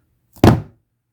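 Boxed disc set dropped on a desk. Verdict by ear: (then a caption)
Solid. An unopened The Blair Witch Project limited-edition 2-disc Blu-ray box set is dropped onto a desk, giving a faint tap followed by a single heavy, low thump that dies away within a few tenths of a second. The dull, bass-heavy thud shows the set is solid, heavy and full.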